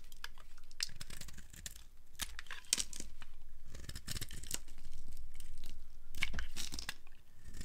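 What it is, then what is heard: Dry soap bar. A solid yellow bar of dry soap, held in hand over a wooden surface, has thin curls carved off it with a flat blade. The result is a run of dry, crisp scraping and crackling strokes with bright, brittle crunches and a soft low rumble underneath.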